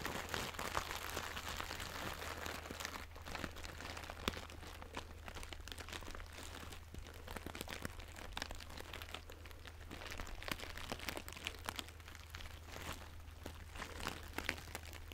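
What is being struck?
Fabric crinkle pouch.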